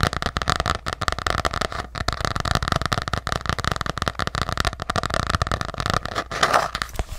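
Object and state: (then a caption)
Hardcover journal tapped with nails. A small ornate hardcover journal with a decorative printed cover is held in one hand close to the mic and tapped and scratched on its cover with long acrylic nails. Fast, dense clicking taps mix with scratchy crackles in a steady stream, with a brief pause near the two-second mark and a louder burst near the end.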